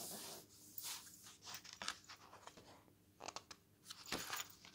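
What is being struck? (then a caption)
Glossy paper magazine. A glossy paper magazine lies open on a wooden table as fingers turn a page, then a flat hand rubs across the glossy pages. Quiet, bright, crinkly swishes and papery rubbing come in short bursts with soft gaps between them.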